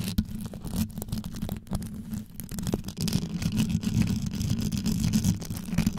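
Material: Rhinestone.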